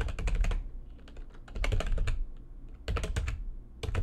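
Long painted nails type fast on a backlit plastic computer keyboard, producing three quick bursts of dense, rattling clicks separated by short, quieter stretches of lighter tapping. Each keystroke carries a soft low thump under a bright, crisp click that dies away quickly.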